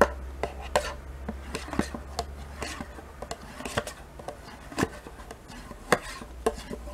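A metal spoon scrapes and taps with quick strokes inside a small, thin plastic yogurt cup held in hand, mostly empty with residue left in it. About 16 short, sharp clicks ring out over soft scraping, with a steady low hum underneath.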